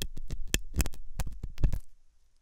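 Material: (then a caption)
Silicone. A thin hooked metal dental tool scratches inside the ear canal of a soft, solid-looking white silicone dummy ear on a binaural microphone. Close, low, thudding scrapes and scratches come in rapid bursts for about two seconds, then stop.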